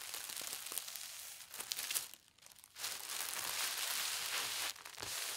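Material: Paper.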